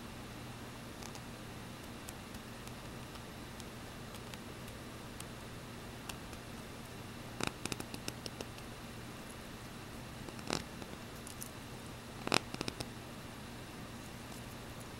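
A small, ornate silver-coloured metal filigree hoop earring with a hollow, openwork ring shape is handled and rubbed by fingertips and nails, and its hook wire clicks. Faint, sharp, bright clicks and ticks sit over a steady low hum and hiss, with the loudest clusters near the middle and toward the end.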